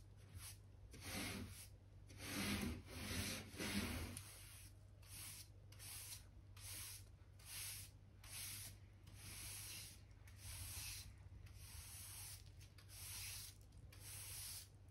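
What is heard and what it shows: A soft-bristle hand brush sweeps along solid, pale pine floorboards beside the skirting, brushing dirt and dust from between the planks. Repeated rubbing strokes give bright, breathy swishes over a steady low hum, with the strongest strokes early in the clip.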